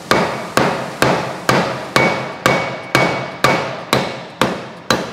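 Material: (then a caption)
Metal. A soft hammer taps a metal housing section of an automatic gearbox during an overhaul, working it loose so the piston seal can be replaced. Eleven steady, evenly spaced knocks each carry a short ring near 2.2 kHz. The tone of the taps changes as the part loosens, and it comes out.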